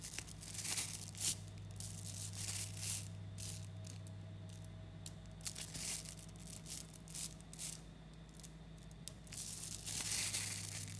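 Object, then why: Clump of 3 mm neodymium magnetic balls. A mass of about 11,000 small 3 mm coated neodymium magnetic balls is pulled apart by fingers into chains, then kneaded back into a lump. Dense bursts of bright, crackling clicks and tearing snaps come as the spheres separate and knock together. A steady low hum runs underneath throughout.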